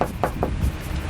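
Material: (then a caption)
Sheet metal. Three quick knocks on an undamaged sheet-metal car body panel give short, dull taps with a mid-pitched tone and almost no ring. This is the solid sound of a sound panel, unlike the more hollow knock of a damaged panel with body filler.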